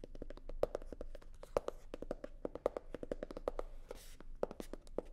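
Long nails tap and scratch a hollow, navy blue hard-shell sunglasses case covered in faux leather. Quick, dry taps with a hollow knock around 500 Hz come in rapid, uneven runs, and a brief brushy scratch sounds near the four-second mark.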